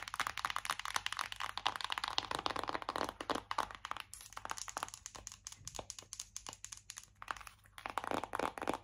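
A flat, hollow, colourful printed cardboard Make Me Brazil eyeshadow palette, held in both hands, is tapped and scratched with long acrylic nails. Rapid, dry clicks and crackly scratching run throughout, with bright crinkling that may come from a plastic film on the palette. Busier bursts of scratching alternate with sparser, sharper taps.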